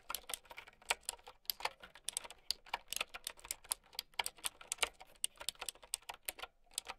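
Long nails type continuously on a plastic mechanical keyboard with round keycaps. It makes a quick, uneven run of bright, clicky taps with almost no low end. Each tap dies away almost instantly.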